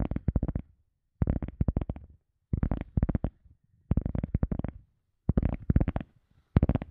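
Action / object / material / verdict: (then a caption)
tap / EVA foam sponge / EVA foam / none. An EVA foam sponge is tapped with quick fingertip-like taps in six bursts of rapid, soft thuds separated by short pauses. The taps are dull and low, mostly below 200 Hz, and each dies away instantly with no ring.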